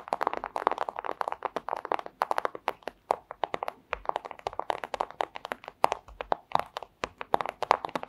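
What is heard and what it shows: A flat, thin clear plastic pouch is tapped rapidly with long acrylic nails. The result is a dense run of quick, dry clicks and crinkly taps. Their energy centers in the midrange around 900 Hz with bright high edges and almost no low end.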